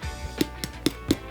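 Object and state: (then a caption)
Crisp roast pork skin. The crispy skin of a roasted suckling pig is tapped four times, each tap a short, dry, hollow knock that dies away almost at once. The skin sounds hard, showing it is crisp.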